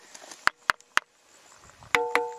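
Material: Limestone.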